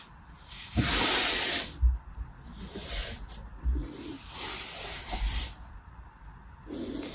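A large, loose pile of soft, granular beige kinetic sand on a purple mat, with no container, is squeezed and rubbed between both palms and fingertips. Bright, hissing, sandy rubs swell and fade in waves, with soft low thuds as the hands press into the mound.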